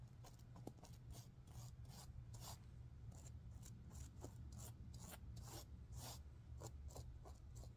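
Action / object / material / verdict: scrape / sequin-covered stuffed pillow / sequins / none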